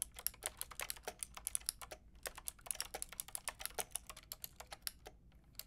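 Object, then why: Plastic mechanical keyboard with round keycaps. Long painted nails and fingertips type on a white and pink Lofree mechanical keyboard with round plastic keycaps. A quick, steady stream of short, bright clicking taps is heard, each dying away almost at once, with brief pauses near 2 and 5 seconds. Quiet, low hum sits underneath throughout.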